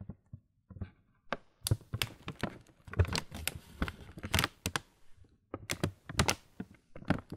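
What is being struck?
Laminated plastic cereal bag.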